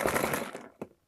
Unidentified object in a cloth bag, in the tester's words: sounds like there's some loose parts in there